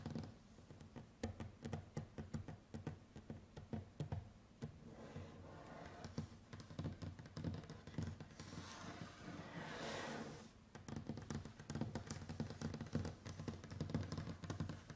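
Both hands tap a large, solid, varnished wooden tabletop with long white acrylic nails and fingertips, making rapid, dense clicks and dull, low knocks that die away almost instantly. Midway the tapping gives way to a softer, continuous scratching and rubbing that turns brighter before quick tapping resumes.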